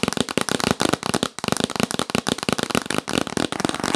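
Fingernails tap fast and aggressively on a yellow printed cardboard gift box held upright. The dense, dry clicking taps come in quick bursts, each one short with almost no ring.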